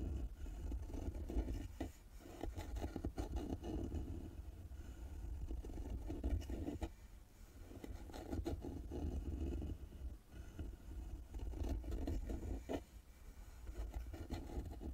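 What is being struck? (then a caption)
Carved wooden box with embossed metal lid plaque. Long nails scratch the carved wooden lid and the embossed metal plaque of a small hollow carved wooden box resting on a table. The scraping comes in uneven strokes, mostly low and muffled with a dull rumble, and dips briefly into quieter pauses.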